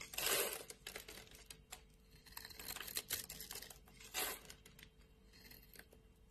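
A solid light blue bar of soap held in the palm is scored and scraped with a metal blade, flakes coming off. Dry, bright scraping strokes and crisp little crackles are heard, with louder sweeps at the start and again near the four-second mark, over a faint steady hum.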